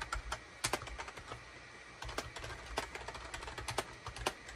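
Fingertips of both hands type rapidly on a gray SHIPADOO K600 full-size wired USB keyboard, which has a hollow gray plastic case and cream, gray and orange plastic keycaps and rests on a desk mat. The result is an uneven run of sharp, hollow plastic clicks with bright tops that stop almost instantly, over a faint low background hum.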